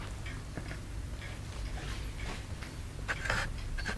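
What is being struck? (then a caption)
Plaster block scraped with a wooden stick. A wooden stick scrapes and picks at the surface of a partly carved, solid white plaster excavation block held in the fingers. Quiet, dry scratching and short bright ticks rise over a steady low hum, growing slightly louder toward the end.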